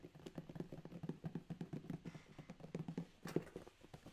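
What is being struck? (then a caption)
Corrugated cardboard box. The fingertips of both hands tap and drum on a closed, medium corrugated cardboard Amazon box with tape and labels, its contents unseen, before the box is held up. About two dozen quick, dull, low thumps sound, each dying out almost instantly with no ring, and one firmer thud lands near the end.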